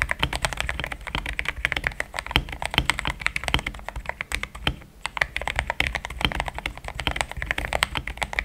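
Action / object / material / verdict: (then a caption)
tap / mechanical keyboard with thick plastic keycaps / plastic / none. Fingertips of both hands type fast on a compact pink-white mechanical keyboard with thick plastic XDA keycaps, a polycarbonate plate and linear switches, resting on a desk mat. The result is a dense, steady stream of short, crisp key clacks with a bright top and a soft low thump underneath. The typing pauses briefly near the middle.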